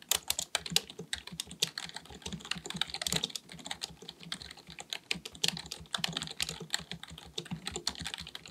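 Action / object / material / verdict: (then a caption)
tap / plastic computer keyboard / plastic / none. Fingertips of both hands type rapidly on a black full-size plastic computer keyboard resting on a desk. The quick, uneven stream of key taps sounds sharp, bright and clicky, with little low end. Each tap dies away almost instantly, at a fairly quiet level.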